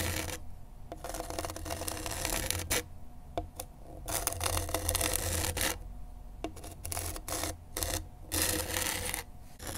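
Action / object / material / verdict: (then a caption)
scrape / abrasive grip tape on a skateboard deck / grip tape / none. A gloved hand drags a pen tip in scratching strokes across gritty black grip tape with a printed graphic, stuck flat on a skateboard deck. Bursts of rough, bright rasping come in uneven strokes separated by short quiet gaps, over a steady low hum.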